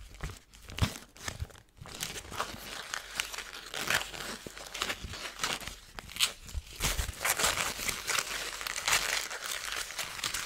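A thin, crumpled gold foil paper sheet is held in both hands and twisted and crumpled with fingers and long nails. Dense, bright crinkling and crackling rustles on and off in quick bursts, building into steadier, louder crinkling toward the end.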